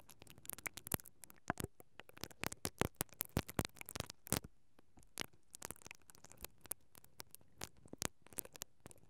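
A mascara brush with black plastic bristles, held by fingers with long nails, is brushed back and forth across the hollow perforated metal grille of a microphone capsule. It makes a dense run of quick, dry scratching strokes and crackling taps that flash bright and close. The bursts come in irregular clusters over a quiet hiss.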